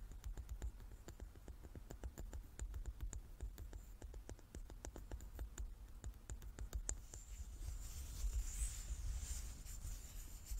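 Long nails tap quickly and unevenly on the faces of a hand-sized, solid, light wooden die with dark pips, held in both hands, making dry, short clicks for about seven seconds. The tapping then gives way to softer scratching across the wood with a hissy, bright texture, all at a quiet level over a low background rumble.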